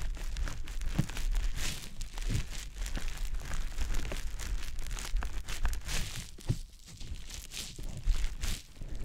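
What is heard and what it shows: A small, round, green konjac facial puff, soft, porous and damp, is held in the fingertips and rubbed and pressed against the silicone ear of a dummy-head microphone. It makes close, continuous wet squishing and crinkly rustling with soft low thumps and bright crackles throughout.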